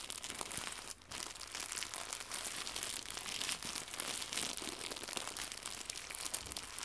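Fingertips crumple and crinkle a small white translucent pack of plastic packaging film with a bow inside. The result is dense, bright, crackling crinkles with almost no low end, running continuously apart from a brief near-silent pause around the one-second mark.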